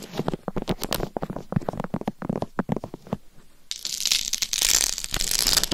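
Long nails tap and scratch across the face and top of a life-size binaural dummy head microphone covered in rhinestones over a hard shell. For about three seconds there is a rapid run of sharp, clicky taps with a low-mid body. After a brief pause, it shifts into a dense, bright, continuous scratching hiss that lasts to the end.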